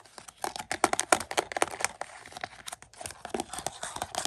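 Fingertips with short nails tap and scratch across the back of a thin, hollow, glossy printed cardboard slipcover on a Mission: Impossible Dead Reckoning 4K movie case lying on carpet. About two dozen crisp, papery taps and scratchy rasps follow in a quick, uneven run. Each one cuts off almost instantly, with no ring.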